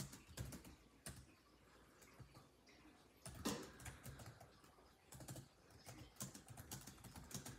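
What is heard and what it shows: Fingertips of both hands type rapidly on a built-in laptop keyboard with dark plastic chiclet keys set in a grey laptop body. Soft, quick key taps come in uneven bursts with a few louder clacks and brief pauses. The clicks are light and short, with a dull low thud beneath a brighter tick.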